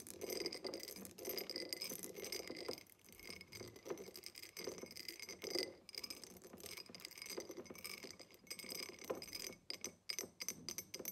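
A tall, empty, hollow diamond-pattern cut glass tumbler stands upside down on a table while long acrylic nails tap and scratch along its sides. Quick bright clinks and ticks mix with scratchy rasping across the faceted glass. Each tap dies away almost at once, with a high glassy tone.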